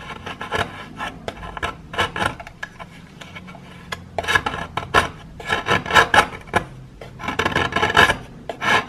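A metal knife blade scrapes a solid grey plaster chunk held in the hand, shaving off powder. Dry, gritty rasping strokes come in bursts with short pauses between them, carrying a bright, scratchy hiss over a thin low rumble.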